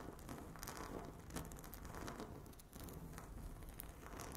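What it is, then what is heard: Laminate tabletop scratched and tapped with nails. Long natural nails of both hands scratch and tap a flat, solid speckled laminate tabletop with a stone-look finish. The result is a dense, continuous crackle of scratches and quick taps with a low rumble underneath and bright ticks over it.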